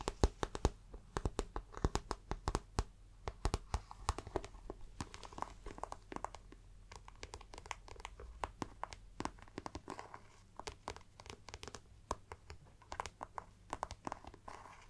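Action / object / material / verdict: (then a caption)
scrape / patent vinyl-coated faux leather handbag / faux leather / none. Long black-polished nails scratch and tap along the shiny body and patent handle strap of a glossy black patent (vinyl-coated) faux leather handbag, which is hollow and soft-bodied and held close. A steady stream of quick, crisp clicks and taps mixes with scratchy, crinkling rubs. Each tap dies away almost instantly over a soft, low, muffled thump from the bag's body.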